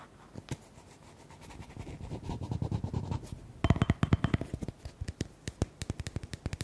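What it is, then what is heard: Plastic cream tub. A small round white plastic cosmetic tub with a screw lid and a paper label, seemingly hollow or only partly filled, is held in both hands and scratched and tapped with fingertips and short nails. Soft, low rustling scratches build over the first few seconds, then give way to a quick run of sharp, dry taps with no ring. The taps stay dull and low-pitched, with only faint brightness on top.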